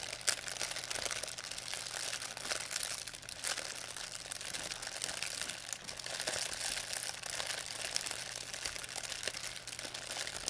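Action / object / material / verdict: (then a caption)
scrape / thin plastic shopping bag / plastic film / none. A thin white plastic pharmacy bag with red and blue print, crumpled into a ball, is crinkled and squeezed in both hands by fingers with long painted nails. The result is a continuous, dense, bright crackling and rustling for about ten seconds, with quick sharp snaps and almost no low end.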